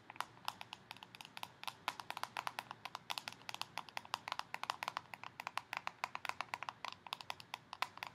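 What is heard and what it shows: Long painted nails rapidly tap and scratch the clear plastic lid and sides of a small round purple plastic tub filled with slime and foam beads, held in the hands. Dozens of quick, dry, bright clicks with a slight ring around 1 kHz fall in an irregular stream over a faint hiss, with almost no low end.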